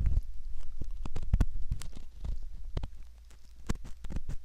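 A straight metal pick rubs and scratches at the canal of a soft silicone ear model, making close, muffled, deep scraping and crackling sounds with a low rumble underneath. Short, irregular scratches come in quick bursts, with brief bright clicks riding on top.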